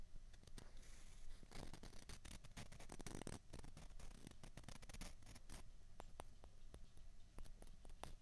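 Two small hollow white plastic ping pong balls are held together in the hands, rubbed and tapped against each other. Rapid, sharp little clicks with almost no ring are heard over soft scraping and a steady low rumble, quiet and close.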